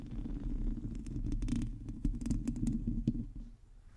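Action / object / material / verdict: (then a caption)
scrape / metal mesh microphone grille / metal mesh / none. Long teal nails of both hands scratch a hollow, domed metal mesh microphone grille. The result is a dense, low, rumbling scrape with quick, bright ticks and a few sharper clicks that fade near the end.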